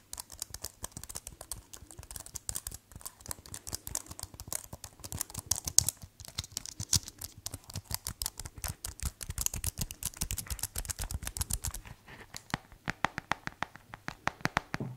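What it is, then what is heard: Plastic keyboard case. Fingertips press and tap the black keys of a white plastic tablet keyboard case held upright. A dense, steady run of short, bright plastic clicks and taps carries on throughout, each one dying away almost instantly.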